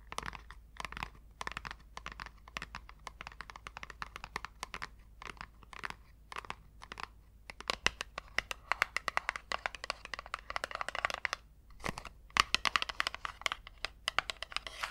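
Long coral nails tap and scratch a small, hollow, square orange Avon cardboard cosmetics packaging box. Rapid, dry clicks and crisp scratching crinkles come in uneven bursts. The sound is bright and papery with almost no low end, and each tap dies away instantly.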